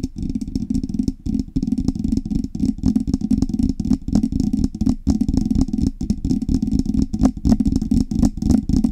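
Long red fingernails tap and scratch the hollow metal cylindrical body of a silver Blue Yeti-style microphone with knobs, held in both hands. Close, irregular clicks and scrapes come in quick succession over a dense low, boomy resonance. Each tap dies away almost at once.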